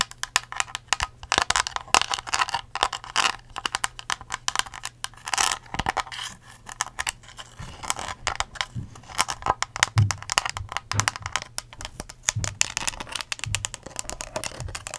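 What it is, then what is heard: Empty plastic cup, hollow. An empty, hollow clear ridged plastic cup with a blue lid and a curly straw is tapped and scratched with long acrylic nails. Rapid, dense plastic clicks and bright, crinkly scratching run throughout, with short dry taps that stop almost instantly. A faint low hum sits underneath, and a few soft, dull thumps come in the second half.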